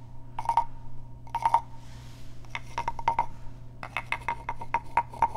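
A small hollow carved wooden frog guiro is scratched with fingernails, then tapped with a wooden stick, giving short, dry, woody clicks with a hollow tone near 900 Hz. The clicks come in quick clusters with a brief soft hiss between, all over a steady low hum.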